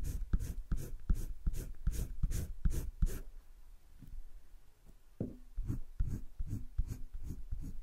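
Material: Paper.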